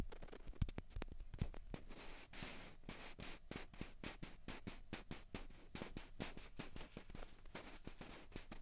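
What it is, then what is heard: Plastic ping pong balls tapped with fingernails. Two small, hollow white plastic ping pong balls, one held in each hand, are tapped with long fingernails. The result is a quiet, steady run of quick, dry clicks with light scratchy scraping between them and almost no ring after each tap.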